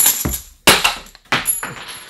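Metal board game coins are shaken or dropped together, producing four bright, jangling clinks with sustained high metallic ringing. Each burst fades quickly into a faint shimmer before the next.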